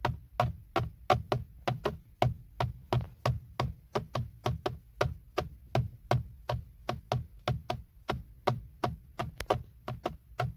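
Fingertips tap and knock on the black plastic, hollow-backed centre airbag cover of a BMW steering wheel, next to the logo. About 35 short, dry knocks come at an uneven pace, roughly three per second. Each has a low thump and a hollow mid tone that dies away almost at once.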